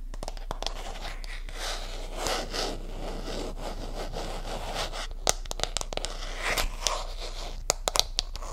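Long nails tap and scratch across the back and camera area of a smartphone held in both hands, fitted in a flat, solid hard plastic case with a white and pink pattern. Soft scratchy scraping and crinkly rustling run throughout, broken by sharp, dry clicks that stop instantly, most clustered in the second half.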